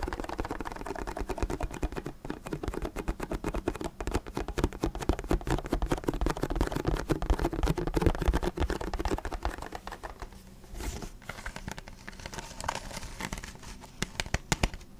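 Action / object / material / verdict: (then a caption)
tap / thin plastic water bottle / plastic / none. Fingertips tap and crinkle the thin walls of an empty, hollow, clear plastic water bottle with a blue cap. A fast, dense stream of soft, short taps with hollow low thumps and light crinkling runs steadily for about ten seconds, then becomes quieter and sparser, with a few sharper taps near the end.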